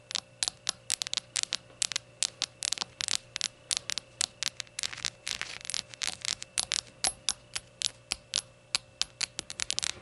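Long gold nails tap a small glazed ceramic rainbow shot glass lying on its side with its empty opening visible. Quick, bright clicks and taps come in an uneven, steady stream, each dying almost instantly, over a faint low hum.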